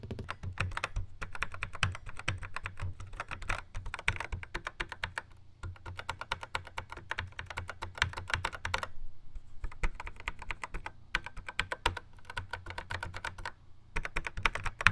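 Fingertips tap repeatedly on the rubbery square pads and buttons of a Yamaha RX11 drum machine in a black plastic housing. The result is a rapid, uneven run of short, dry clicks with a soft low thump beneath them, broken by brief pauses of a fraction of a second. Each tap dies away almost instantly.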